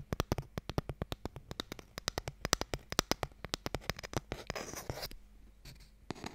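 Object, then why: Small wooden box. Long nails tap rapidly on a small, hollow wooden Mikado box held upright, striking its surface and end in a quick run of about 36 short, dry, clicky taps with a low hollow thump. Toward the end, the nails scratch across the wood in a brief burst of bright rasping noise, followed by a few final taps.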